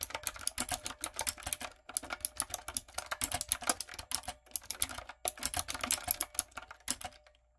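A backlit, typewriter-style mechanical keyboard with round brown plastic keycaps on a dark frame is typed on rapidly with fingertips and long coffin nails. Dense, bright clicking taps come in quick bursts with brief pauses before trailing off at the end. Each tap is short and sharp with almost no ring.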